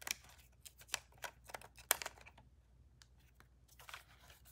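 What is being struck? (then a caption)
Plastic camera body. Long nails tap the body, grip and lens of a black DSLR camera with a plastic body and lens held in the hands. About eight quick, bright, clicky taps land at an irregular pace. Each is short and dry with almost no ring.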